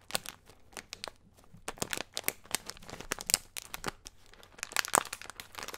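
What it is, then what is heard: Plastic snack bag crinkled. Fingertips and nails crinkle and rub the top of a small plastic soy-snack bag labelled SOJA, full of a colorful snack mix. Dense, bright crackles come in quick irregular bursts with very little low end, each snap dying away almost instantly.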